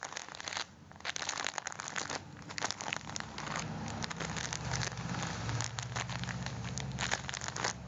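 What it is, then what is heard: Full foil-plastic coffee pack. Fingertips rub and scratch a full red foil-plastic coffee package, folding and squeezing the wrapper. Dense, bright crinkling and crackling runs throughout, with a low steady hum beneath and a brief quieter dip near the start.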